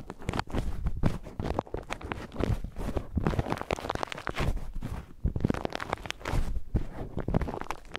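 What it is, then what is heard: Paper tea filter bag being crinkled. An empty white paper tea filter bag is held in the fingers, crinkled and rubbed against a small handheld microphone. A steady stream of close, papery crackles and rustles rides over heavy low, muffled thumps of handling, with quick bursts that die away almost at once.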